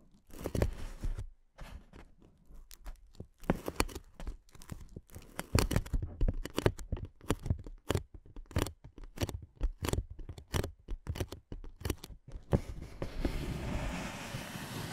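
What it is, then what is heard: Inflatable plastic air cushion. Long nails tap and scratch on a clear, hollow, air-filled inflatable plastic air-column cushion, making a rapid, uneven series of dull, low-heavy taps with short crinkly scrapes between them. Near the end, the hands partly slide behind the cushion, and the tapping gives way to a steady, brighter rustling hiss.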